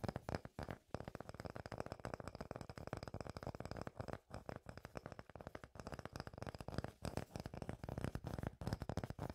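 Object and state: Wooden tree-trunk slice.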